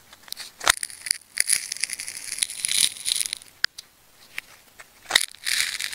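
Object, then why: Ball of wound plastic tape. A metal craft knife slices into and peels back the layers of a hand-sized ball of wound red, yellow and black plastic tape, already partly cut open into layered ridges, while fingertips hold the ball. Bright, crackly cutting and scratching sounds come in bursts with sharp, dry snaps and brief quiet gaps, with almost no low end.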